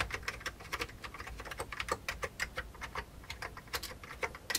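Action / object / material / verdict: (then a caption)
tap / plastic computer keyboard with mechanical keys / plastic / none. Fingertips of both hands rapidly type on an old, full-size beige plastic computer keyboard with mechanical keys and a hollow case. A quick, uneven stream of sharp, bright, clacking keystrokes follows, each dying away almost at once over a faint low background rumble.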